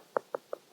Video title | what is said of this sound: The Developer | if you tap on it, you can really hear it. We never want to be climbing over stuff that's hollow